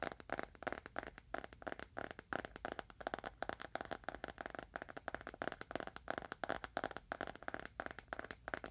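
A small, dark, solid leather-bound book, held horizontally in both hands, is tapped quickly with the fingernails of both hands. The result is a quiet, continuous flurry of short, crisp, dry clicks with almost no ring, centered in the midrange with little low end.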